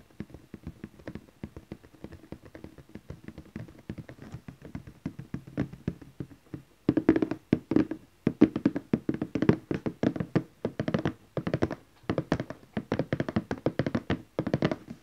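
Fingertips and nails of both hands tap rapidly on the lid of a large glossy orange cardboard gift box lying flat. The taps are short, dry and hollow, with a low-mid body and almost no ring. They stay soft for the first seven seconds, then turn louder and punchier in quick bursts until the end.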